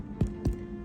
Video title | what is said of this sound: Mini IRISH SODA BREAD Loaves with Golden Raisins Recipe from Chef Victoria Love | if it sounds Hollow then you know it's done it's baked all the way through